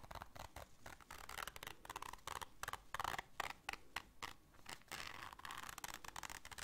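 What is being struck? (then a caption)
Small fabric zippered case. Long nails scratch the fabric and zipper teeth of a small black zippered case held in both hands. Quick, dry, bright scratching bursts come in a rapid, uneven rhythm, mostly above the low range. Near the end they blur into a steadier rasp.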